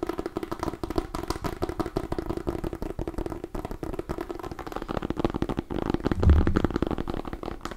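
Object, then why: Small decorative pumpkin with hard rind. A small white and orange striped decorative pumpkin with a hard rind and a hollow-ish gourd body is held in both hands near the mic while long nails scratch and tap it. A dense run of quick, dry ticks and scratchy clicks with a low, hollow body continues throughout, swelling briefly louder near the end.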